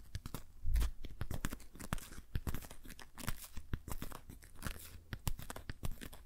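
A patterned rubber dish glove worn on the hand has its fingers rubbed and squeezed together. The result is a steady run of quick, short crinkling and crunching rubbery squeaks that come in dense bursts with a low, muffled body.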